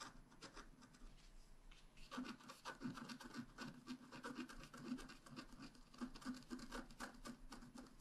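A wooden stylus tip scratches across a flat, black wax-coated scratch-art page about A5 size, a solid thin card lying on a table. Dry, rasping scratch strokes repeat at an uneven pace, soft at first and then denser and louder after about two seconds. Each stroke is short with no ring, carrying a low scraping tone around 250 Hz and a bright hiss.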